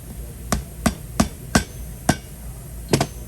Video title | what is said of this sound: Engine Head Gasket / Cracked Head Repair (Toyota 3.4L V6 5VZ-FE ) - Part 4 | when you hear that solid sound you know you fully seeded it